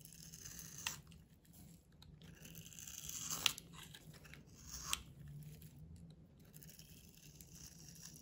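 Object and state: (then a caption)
Bar soap being carved. A solid oval bar of blue-and-white striped soap, held in the hand, is carved and scraped with a metal utility knife blade that curls off shavings. The sound is a quiet, bright scraping and crinkling with a steady low hum beneath it. Three sharper blade strokes stand out, near 0.9, 3.5 and 4.9 seconds.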